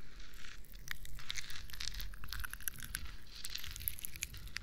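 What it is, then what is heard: Plastic moon lamp scratched. A hollow, textured plastic moon lamp, lit and changing colour, is held close and scratched with long nails and fingertips. The result is a quick run of dry, crinkly scratching strokes with a bright, hissy edge over a faint low rumble.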